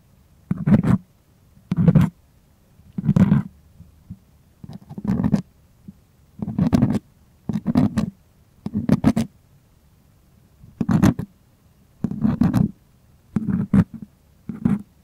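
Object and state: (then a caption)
Primed cotton artist canvas. A fingertip and nail scratch and tap the taut surface of a white, stretched, primed cotton artist canvas near the frame edge while it is held at an angle. About a dozen short, separate bursts of dry, rasping scratching are heard, each with a low, muffled drumlike body and bright scraping streaks above. Quiet pauses of uneven length fall between the bursts.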